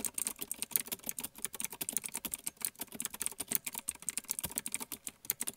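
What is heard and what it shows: Keys on a small black plastic one-handed mechanical gaming keyboard with Outemu blue clicky switches and a wrist rest, sitting on a white table, are pressed and tapped with fingertips, first with two hands and then with one. The result is a fast, steady stream of sharp, bright clicks with very short decay and little low end.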